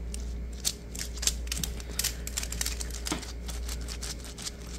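A hollow green plastic diamond-mesh net sleeve, stretched into a ball shape, is tapped and scratched with fingertips and short nails. The result is a rapid series of bright, dry, crackly clicks and scratches over a steady low hum.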